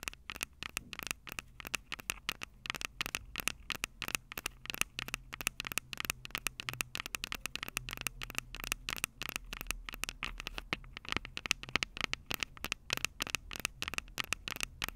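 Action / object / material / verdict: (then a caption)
tap / metal microphone capsules of a handheld recorder / metal / none. Long purple acrylic nails on both hands tap and scratch the two metal X/Y microphone capsules of a small black plastic Tascam DR-05 handheld recorder held upright. It makes a rapid, dense stream of short, dry clicks and scratchy crackles, bright and tinny with a ring near 2.6 kHz. Each tick dies away at once over a faint low hum.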